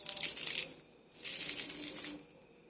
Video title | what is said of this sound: la plus simple recette de BOUREK/ BRICK au POULET et au FROMAGE très rapide et bien croustillante | sont bien bien croustillantes écoutez moi le bruit